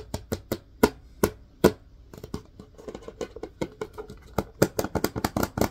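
Fingertips tap and scratch the labeled body of a hollow plastic disinfecting wipes canister turned on its side. Widely spaced, dry, hollow knocks open the clip, then give way to soft scratching and a faster, irregular run of quieter taps before louder knocks return. Each tap dies away almost at once with no ring.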